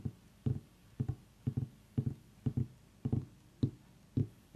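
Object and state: Pumpkin tapped.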